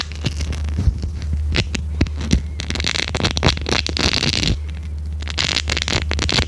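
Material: Silicone.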